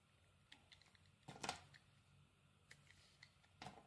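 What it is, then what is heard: Bar of soap being scraped. A metal blade scrapes and shaves the surface of a solid, oval, pale green bar of soap held in the palm. Quiet, bright, crisp ticks and scratches are heard, with louder rasping shaves around the middle and again near the end.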